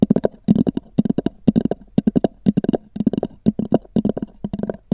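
Long nails tap and scratch across a small, black, oval, hollow hard-shell EVA zip case with a textured cover. The result is quick clusters of dry, hollow clicks with a low-mid body and almost no ring, arriving in uneven bursts about twice a second.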